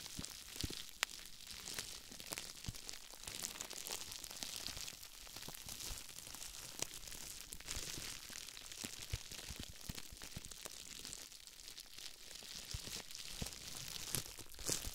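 Fingertips with medium-length painted nails rub and press across a small flat sheet of clear plastic bubble wrap, partly coated with a white foamy or powdery substance, lying on a wooden table beside two untouched lavalier mics. The sound is a steady, quiet stream of bright crinkling and crackling, dotted with dense short clicks and small pops.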